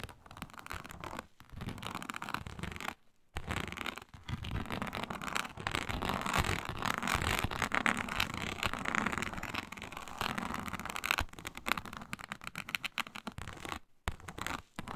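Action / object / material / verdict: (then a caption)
scrape / embossed synthetic leather mat / synthetic leather / none. Long nails scratch and scrape across a flat, iridescent faux snakeskin mat of embossed reptile-pattern synthetic leather. The result is a dense, rapid, uneven stream of dry, raspy scratching with a bright edge, shifting between lighter and heavier passages. It is broken by brief pauses near 3 and 14 seconds.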